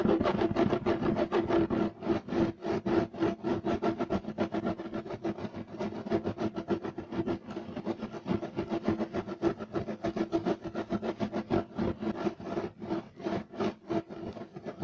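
Fingertips and nails scratch and rub fast across a beige striped woven fiber carpet. A dense stream of quick, rough, papery rasps repeats at roughly three strokes per second, with most of the energy in the low-mid range and little bright top end. The scratching stays steady and busy for about fifteen seconds, with no speech.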